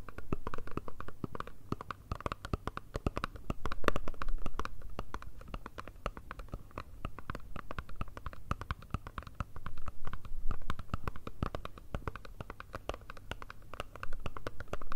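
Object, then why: Small cardboard perfume box. Long red nails tap and scratch a small, hollow black Chanel cardboard perfume box held close to the mics. The result is a dense, uneven stream of short, dry taps with a boomy low thump and scratchy rustle in between, rising and falling in loudness.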